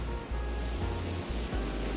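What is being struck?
Nothing is struck.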